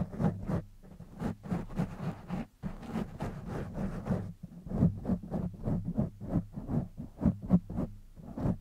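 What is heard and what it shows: Fingertips of both hands scratch the sides and top of a black foam windscreen on a silver condenser microphone. Irregular, rapid bursts of muffled, rustling scratches come through as a deep, boomy rumble, with almost no bright content.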